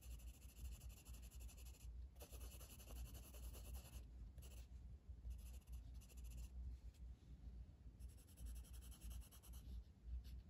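A blue wooden colored pencil held in the fingers shades with rapid strokes across the flat paper page of a coloring book resting on a table. Quiet, dry scratchy rubbing comes in bright bursts of stroking separated by short pauses, over a steady low hum around 62 Hz.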